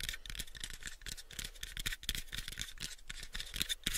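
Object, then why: Small unfinished wooden box. Fingernails scratch and tap the faces of a small, pale, unfinished hollow wooden box held in both hands. A continuous dry, bright rasp with a peak near 3.5 kHz is punctuated by quick, dull, hollow thumps that die away almost instantly.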